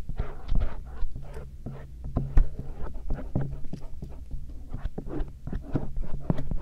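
A stainless steel earpick scrapes along the folds of the soft silicone ears of a binaural microphone. The result is a steady run of dull, low, muffled rubbing and scratching strokes close to the mic, with a constant low hum underneath.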